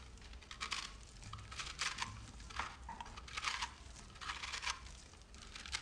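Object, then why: Solid soap bar scraped by a metal blade. A large solid bar of soap with green and pink speckles, held by the fingertips, is shaved with a metal knife, giving repeated crumbly, bright scratching strokes. Each stroke rises and fades over a faint low background hum.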